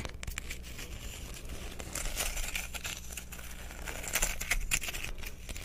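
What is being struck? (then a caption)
Rough quartz crystal chunk. Fingernails scratch and tap the faceted surface of a hand-sized, rough, translucent, solid clear quartz crystal chunk held close to the microphone. The result is a dense, irregular stream of crinkly scratching with sharp, bright clicks that die away almost instantly, over a steady low hum.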